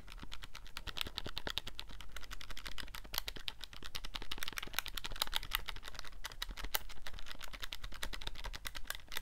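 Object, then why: Plastic calculator keys. Fingertips rapidly press and click the number keys of a handheld black plastic scientific calculator with a hollow casing. A dense, continuous stream of short, sharp plastic clicks with bright snap follows, each dying away almost at once over a low background rumble.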